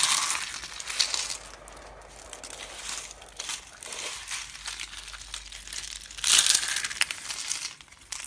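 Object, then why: Soap curls. Small hollow yellow and green dry soap curls are pressed flat and crushed under both hands and fingers. The result is a steady, bright, dry crackling and crinkling with almost no low end, swelling into a louder burst of crunching near the end.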